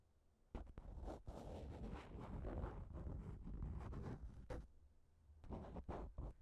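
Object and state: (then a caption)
Plastic shower cap. A thin pink plastic shower cap stretched over a microphone is poked and scratched with a fingertip and a nail. Close, muffled crinkling and rustling comes in short bursts with a dense stretch of scraping in the middle, heavy in low thumps and with little high-end brightness.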